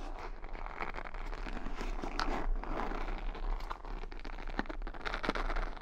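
Long nails run along and flick the bristle pins of a wooden paddle hair brush, decorated with beads and rhinestones, held close to the microphone. The result is a continuous dry crackling and scratching texture with quick ticking flicks, all over a steady low hum.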